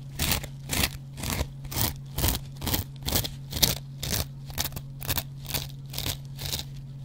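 A metal double-edge razor blade scratches the green scouring-pad side of a hand-sized, dry kitchen sponge made of yellow cellulose foam with a green scrub layer. The scratching comes as a steady run of short, bright, crunchy strokes, roughly two per second. A constant low hum sits underneath.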